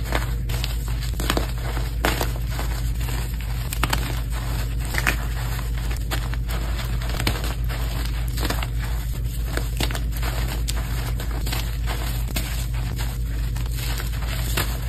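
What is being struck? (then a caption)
Block of gym chalk. Green-dyed gym chalk slabs and powder are crumbled and squeezed between fingers and palms, with solid chunks breaking apart into powder. A steady run of dense crunching and crackling holds at an even level over a strong low rumble, with brief sharper snaps scattered throughout.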